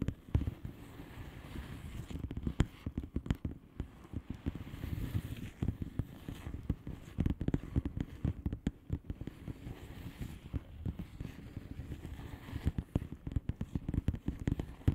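Long painted nails of both hands tap rapidly across a flat blue plastic bubble wrap envelope with air-filled bubbles. The result is a dense, steady stream of short, dry, muffled clicks and soft crackles, weighted toward the low end, with each tap dying away almost instantly.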